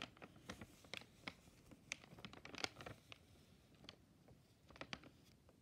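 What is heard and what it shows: A medium flexible plastic-film Bertolli frozen shrimp scampi pouch, held in one hand, is tapped and brushed with a purple-handled brush and stick. It crinkles as it is handled, giving quick, bright, dry crackles and taps scattered across the clip with a soft rustle between them.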